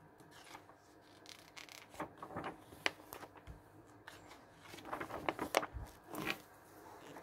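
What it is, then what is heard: Glossy paper magazine pages being turned. Fingertips lift and turn the thin coated pages of an open glossy paper travel magazine lying on a wooden table, one by one. Soft rubbing and crinkling swishes are punctuated by sharp, bright paper snaps as each page flips and settles.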